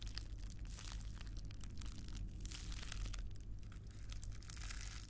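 A small, hand-sized sheet of clear plastic bubble wrap with air-filled bubbles is squeezed, crinkled and popped between the fingertips of both hands, close to the microphone. Dense, bright crackles and snapping pops run continuously over a steady low hum throughout.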